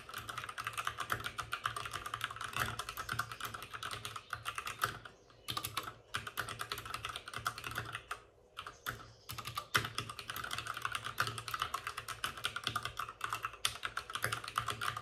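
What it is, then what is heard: Plastic mechanical keyboard. Both hands type rapidly with their fingertips on the plastic keycaps of a white plastic backlit RGB mechanical computer keyboard resting on a desk with a padded wrist rest. The result is a dense stream of short, bright clicks and clacks that decay almost instantly, broken by brief pauses around the fifth and eighth seconds before the fast typing resumes.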